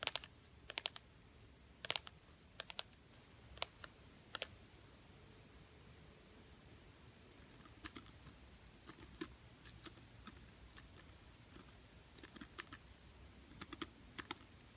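Long painted nails tap and scratch a small, thin, solid gold glitter-coated plastic butterfly ornament on a Christmas tree. The result is quiet, sparse, bright clicks and crisp scratchy ticks, each dying away almost instantly, arriving in scattered clusters over a low, steady hiss.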